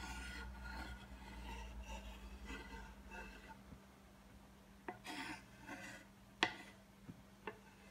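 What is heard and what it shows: A thin wooden stick scratches and rubs across a flat, solid, light-coloured wooden cutting board with visible grain and knife marks, making a series of dry, raspy strokes. Toward the end come a few short, sharp, bright taps that die away almost instantly, over a faint steady low hum.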